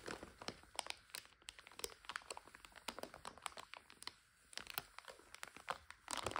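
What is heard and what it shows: A full plastic bag of dry egg noodles is turned and folded by both hands, making the plastic crinkle. Quick, dense crackles and snaps come in rapid, irregular bursts with a bright, papery texture and little low end. There is a brief quieter pause partway through, then a louder stretch of crinkling at the end.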